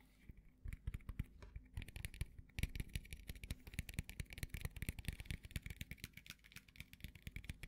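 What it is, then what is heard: Thin hard plastic frame. A small, thin, open frame of bright green hard plastic is held at a table and tapped and scratched with the fingertips and short fingernails. Rapid, dry, clicky taps come in a steady, uneven patter, with a soft thudding low end and brief bright scratches between them. Each tap dies away almost at once.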